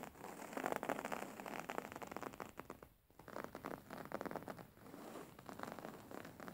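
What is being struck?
Printed fabric cushion.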